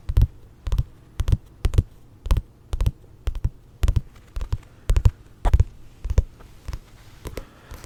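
Volume 1 of a Jujutsu Kaisen paperback manga is tapped in a steady rhythm of quick, paired taps, a little under two per second. Each tap is a soft, dull, low thump that stops almost at once with no ring, over a faint low hum between taps.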